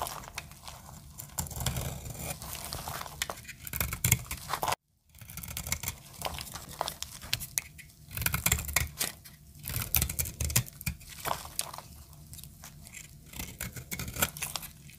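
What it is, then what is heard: Dry soap bar. A solid white dry soap bar is cut and scraped with a snap-off metal blade, giving off dense, dry crackling and crisp scraping across low and bright ranges. It breaks briefly into silence just before five seconds, then resumes, as brittle shavings come off.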